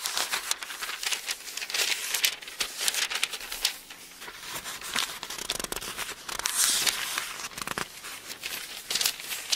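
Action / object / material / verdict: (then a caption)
scrape / thin paper book pages / thin paper / none. A palm rubs the thin paper pages of an open Bible, then fingertips lift and turn the pages. The result is a steady stream of dry, bright paper rustling and crinkling with quick crackly flicks. There is almost no low end.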